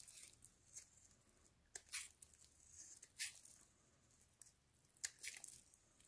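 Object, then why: Solid soap bar scraped with a blade. A metal utility-knife blade, held in black-gloved hands, shaves and carves curls off a rectangular pale green solid bar of soap, with the shavings piling up below. Quiet, bright, crisp scraping and crunching cuts come in short separate bursts with almost no low end and very little ring after each stroke.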